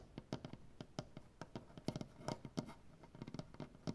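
Nail tips tap and scratch on a solid maple butcher block tabletop, giving about nineteen short, dry clicking taps over a soft scratching bed. Each tap has a low, woody thump with a brief bright click and almost no ring.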